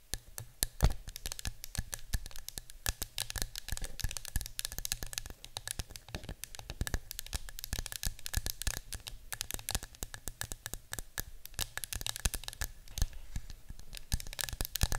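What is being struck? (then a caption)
Cardboard canister with metal-rimmed lid. Long nails rapidly tap and scratch the printed side of a yellow cylindrical cardboard citronella canister with a metal-rimmed lid, standing on a table. The result is a dense stream of short, dry clicks and bright scratchy crackles with almost no ring, over a faint steady low hum.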